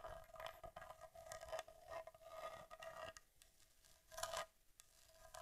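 Long nails tap and scratch the front of a solid Argus C3 camera with a metal body and leatherette covering, held upright. The sound is quiet, continuous scraping and scratching with repeated light taps and a steady ringing tone near 660 Hz. A louder burst of scratching comes just past the four-second mark before it settles back to soft scraping.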